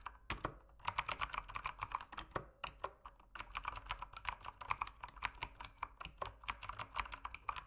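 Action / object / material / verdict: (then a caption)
tap / mechanical keyboard with plastic keycaps / plastic / none. Fingertips type continuously on a full-size backlit mechanical keyboard with plastic keycaps, resting on a desk in a dim room. Quick, bright key taps and switch clicks centered around 1 kHz come in fast bursts, with a brief pause near the middle before the typing picks back up. Each click is short and dry, with almost no ring.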